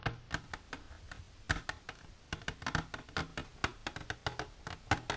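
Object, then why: Plastic container tapped with fingernails. Long natural nails with silver polish tap rapidly on a plastic container. About two dozen short, dry clicks ring briefly, with a hollow low body under them.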